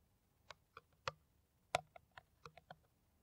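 Long nails tap on an empty, clear, ridged, hollow PET plastic water bottle held in the hand. Nine quick, dry, irregular taps click out with a bright, hollow plastic tick that dies away almost at once.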